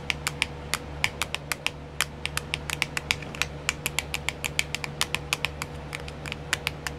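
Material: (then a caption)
Plastic. Long nails tap quickly on a small, round, clear plastic nail art wheel with compartments filled with decals. About 41 short, bright clicks with very little ring sound over a steady low hum.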